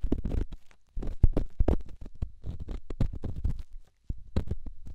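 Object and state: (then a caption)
Rough stone rubbed on a silicone ear. A solid rough rock held in the fingertips is rubbed against a silicone microphone ear. It makes a series of low, muffled scraping and bumping sounds in short bursts with brief pauses.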